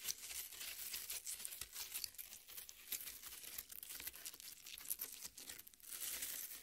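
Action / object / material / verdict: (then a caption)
scrape / half watermelon, red flesh scraped with fingernails / watermelon flesh / none. Long nails scrape and crumble the red flesh of a half watermelon resting on a plate. The result is a steady, bright, crackly crunching and tearing with very little low end, made of many quick overlapping scratches.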